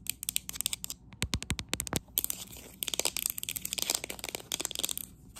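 Long acrylic nails rapidly tap and scratch the side of a hollow, apparently empty green matte textured ceramic cup. The result is a fast stream of bright, crisp clicks and scratchy rasps, with a few fuller, lower-reaching taps near the middle, each sound stopping almost instantly.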